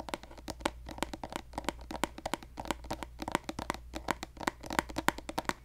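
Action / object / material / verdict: tap / plastic cosmetic squeeze tube / plastic / none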